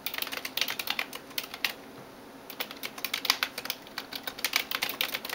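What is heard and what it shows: A hand types rapidly on a backlit plastic computer keyboard with fingertips and nails, producing about thirty quick, bright clicking taps. A brief pause in the middle separates two bursts of typing, and each tap is short and dry with almost no low end.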